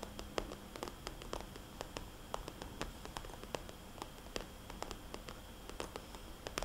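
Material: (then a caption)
Plastic. Long dark-painted nails tap rapidly on a small, hollow, soft-sided red polka-dot glossy plastic cosmetics bag. Quiet, sharp clicky taps with a bright edge come in quick, uneven bursts. They sit over a steady low hiss.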